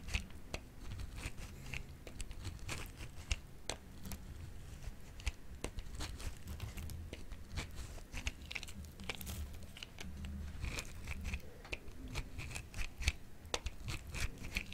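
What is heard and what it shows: A solid, yellowish, hand-sized bar of dry soap is pressed against a grey-green plastic grater with a metal blade and shaved through it in repeated crunchy scraping strokes. Sharp, bright crackles and clicks ride over a steady low rumble. The shavings collect inside the tool.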